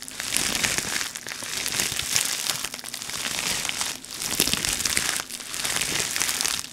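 Fingers crinkle a clear plastic air-cushion packaging sheet with grid cells as it is held and folded in the hands. The result is a dense, bright, crackling crinkle that rises and falls in continuous swells, with brief dips around the first, fourth and fifth seconds, and almost no low end.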